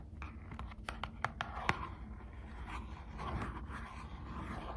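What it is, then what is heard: Cardboard card pack tapped and scratched. Long acrylic nails tap and scratch the back of a small Squishmallows trading card pack, a thin cardboard backing with a plastic window, held in both hands. A series of sharp, crisp taps stands out in the first two seconds, followed by softer, continuous scratching over a low background hum.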